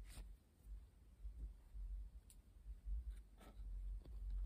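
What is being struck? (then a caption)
Stack of coated paper playing cards. A full deck of coated paper Uno playing cards, held in the hands as a small solid stack, has its edges scratched and tapped by long painted nails. Soft, dry scratching and a few brief, bright clicks sit over a quiet low rumble. The sound stays faint and close throughout.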